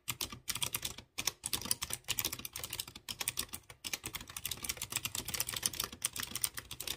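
Fingertips type on a light blue plastic mechanical keyboard with round chrome keycaps on clear-housed blue switches. A fast, steady run of sharp, bright clicky taps fills the clip, with only brief pauses between bursts.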